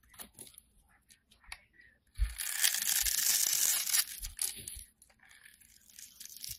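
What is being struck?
Solid bar of soap cut with a metal blade.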